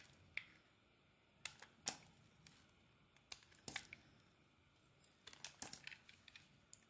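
A metal utility blade scrapes and carves shavings off a solid rectangular white soap bar with a teal embossed emblem, held in the hand. Quiet, bright, crisp scraping clicks come in an irregular series of short bursts separated by near silence.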